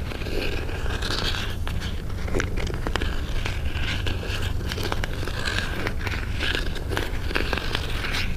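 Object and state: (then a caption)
Cardboard box scratched. Fingernails and fingertips scratch and rub the sides of a small, closed white cardboard jewelry box held close up. The result is a continuous dry scraping and crackling texture with quick sharp ticks, over a steady low rumble.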